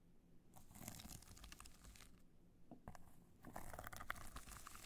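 Long nails scratch across the face of a hollow black hard-shell clutch covered in multicolor rhinestones, held in the hands. The result is a quiet, irregular run of crunchy, crinkling scrapes and bright ticks. Louder bursts come in the second half.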